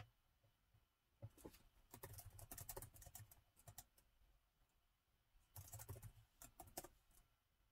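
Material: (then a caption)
Plastic. Fingertips type on the black plastic keys of a gold metal-look laptop with a hollow body, with some touchpad use. Quiet, quick clicky taps come in two bursts separated by a pause, each tap a short, dry click with a soft low thump underneath.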